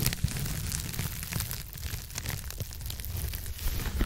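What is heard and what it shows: Long acrylic nails of both hands scratch a blue textured foam scrub sponge with a white base, close to a microphone. A continuous, dense scratching and crinkling texture runs throughout, with a heavy low rumble underneath and bright, gritty detail on top. The level stays steady from start to finish.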